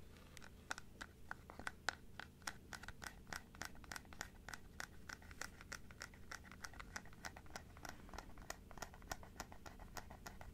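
Long nails scratch and tap the teeth and inner palate of a large plastic dental teeth model held open sideways. Quick, dry clicks with a bright, short ring land in a steady stream over a faint low hum, with a few louder taps standing out.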